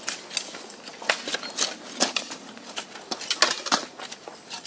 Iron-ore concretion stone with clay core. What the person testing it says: The clay core shrank by drought and became loose. If you shake the stone, you hear a rattling sound.